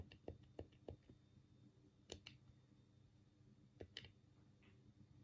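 A black, hollow plastic Sega Mega Drive game pad is held in both hands while the thumbs rapidly click its D-pad and buttons. It makes a quick, irregular series of short, dry plastic clicks with a low hollow knock and bright tick, each dying away almost instantly, over a quiet background.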